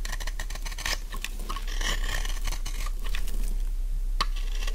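A solid pink dry soap bar, held in one hand, has its corners and edges scraped and carved with a metal utility knife blade. The result is a quick, steady run of dry, crumbly scraping and crackling with bright, crisp ticks over a constant low hum. Crumbly shavings come away as the blade works along the bar.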